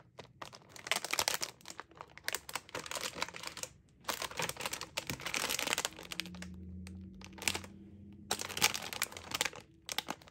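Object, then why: Metallized plastic film cookie bag. Long lilac nails tap and scratch a full, sealed, metallized plastic-film bag of limited-edition Space Dunk Oreo cookies held in the hands, while fingers crinkle the film. Bursts of bright, crackling crinkles and quick clicky taps alternate with short quiet gaps, and a faint low hum sits under the quieter middle stretch.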